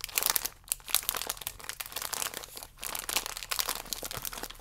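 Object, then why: Thin plastic biscuit wrapper. Fingertips and nails pinch and rub the edges of a thin plastic biscuit wrapper holding a single biscuit, held upright. A dense, bright crinkling and crackling comes in rapid bursts, with almost no low end and each crackle stopping dead, so the sound swells and dips over a few seconds.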